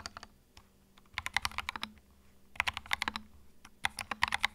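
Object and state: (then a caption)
Plastic mechanical keyboard. Fingertips type on a small white 65% mechanical keyboard with plastic keycaps and a hollow plastic case, resting on a felt mat. Three bursts of quick, bright, clacky keystrokes come with short pauses between them, each key a sharp click that dies out almost at once.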